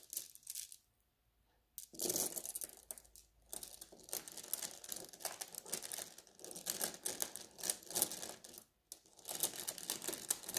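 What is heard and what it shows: A net mesh bag of blue glass gem beads is rubbed with fingertips, then pressed and massaged with a flat hand, so the beads grind and clink against each other. The sound is bright and crisp, with dense overlapping clicks and rustling that swell and fade in waves, broken by short near-silent pauses.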